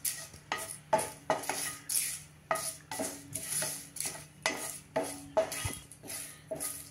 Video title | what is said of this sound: एक सिक्रेट मसाला/ चटकदार भाजी साठी/कोरड्या भाज्या आणि रस्सा भाज्या करा वाटणाशिवाय/zatpatsabji masala | पानांचा बघा खुळखुळ आवाज येतोय छान भाजली गेली आहेत